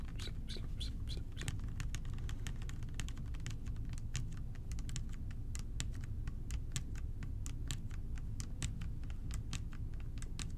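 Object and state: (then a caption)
Plastic bottle with liquid, tapped. Fingertips tap quickly and lightly on the body of a clear plastic bottle with a blue cap, partly filled with purple liquid. The result is a steady stream of sharp, bright little clicks that die away almost at once, over a constant low rumble.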